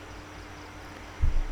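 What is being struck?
Nothing is struck.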